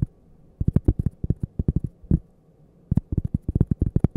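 Long painted fingernails tap and scratch a thin, solid cork coaster held edge-on right next to the mic. Quick, dull, low thuds centered around 117 Hz come in rapid clusters, with faint bright scratchy ticks. Each tap dies almost instantly, and there is a short quiet pause midway before the tapping resumes.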